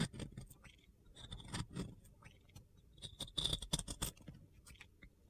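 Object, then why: Glitter-coated bar soap. A box cutter blade scrapes and carves a solid, glitter-coated round pink soap, breaking off crumbly dry bits. The quiet sound is a gritty, crunchy run of irregular scrapes and short ticks with bright high edges and a soft low thud under each stroke. The strokes build into a denser burst of crackling near the end before trailing off.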